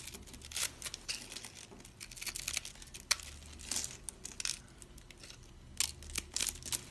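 A thin metal blade scrapes and cuts into the grid-scored face of a hand-held, rectangular bar of dry, solid soap, crunching off small cubes over soap crumbs while fingers with long purple nails hold the bar. Bright, dry crunches and crisp scraping come in quick irregular bursts, with the sharpest snaps near the middle and end. Each crunch stops almost instantly, leaving little low-end body.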